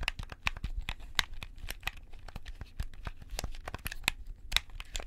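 White-gloved fingertips click the buttons and triggers of a hollow, handheld black plastic gamepad held close to the left microphone. A rapid, irregular stream of short, dry, bright clacks with a tone near 2 kHz sounds over a steady low rumble. Each click dies away almost instantly.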